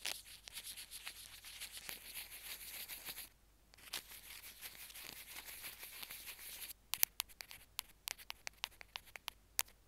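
Two wooden sticks scratch and tap across a small white plastic Apple earphone mic/remote on its cable, which rests on a jade stone. Soft, bright, dry scratching runs for about three seconds, pauses briefly, and resumes. In the final three seconds it gives way to a series of crisp, separate high taps.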